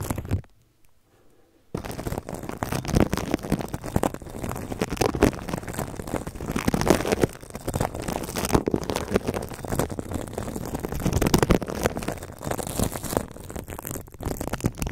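A red and white plastic toothbrush, held horizontally, brushes and scratches its bristles across clear plastic cling film wrapped over the top of a microphone. After a short near-silent pause at the start, a dense, continuous crinkling and scratching texture follows, heavy in the low end with rapid crackly bursts.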